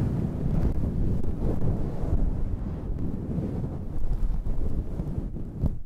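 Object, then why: Synthetic fur microphone windscreen. Long red nails and fingertips scratch a fluffy faux-fur windscreen on a handheld black recorder. The result is a dense, muffled, wind-like rumble that stays almost entirely in the low end, with soft swells and brief scratchy flicks throughout.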